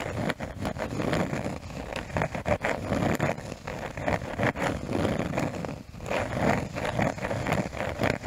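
A cork surface is tapped and scratched close to a new microphone as an ASMR trigger. It makes a dense run of soft, dull taps mixed with rough, low-to-mid scratching. The brief pauses are barely quieter than the sound itself.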